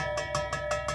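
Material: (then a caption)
Aluminum. The aluminum driveshaft of a 2000 Dodge Ram is tapped five times at an even pace, each tap giving a very hollow metallic ring centered near 600 Hz. The hollow tone marks the driveshaft as aluminum rather than steel.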